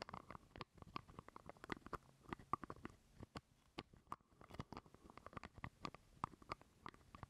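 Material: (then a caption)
Plastic. Fingernails scratch and tap a small hollow purple plastic jar lid held close to the microphone. The result is a quiet, rapid, uneven run of dry clicks and scrapes with a slight hollow tone around 1.2 kHz. Each tap dies away almost at once.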